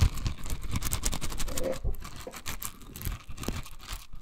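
A hand-sized pink silicone scrubber covered in dense soft bristles is held in the hand while long nails scratch and flick across its bristles. The result is a quick, irregular patter of soft scratchy strokes with brief bright flicks and a low rustling undertone.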